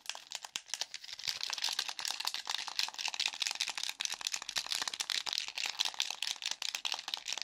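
A hollow black plastic game controller, held in both hands, is tapped, clicked and scratched quickly across its buttons and casing with fingertips and nails. The result is a steady, rapid stream of dry, bright clicks and scratchy crinkles that stop instantly, with almost no low end.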